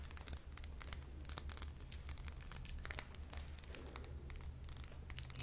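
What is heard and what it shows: A small faceted clear glass perfume bottle with a metal atomizer top and a pink bulb hose is held in the hands and tapped and scratched with long painted nails around its glass body. Quick, sharp, bright clicks and scratchy, crinkly scrapes follow one another closely. They sit over a steady low hum throughout.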